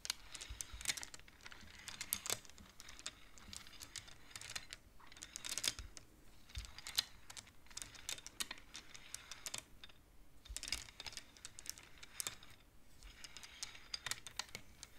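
Fingertips and long nails push colored wooden beads along the metal rods of a large wooden-framed abacus, making them clack. The sound is a quiet, steady patter of quick, dry, bright clicks in irregular bursts, each one cut short with almost no ring.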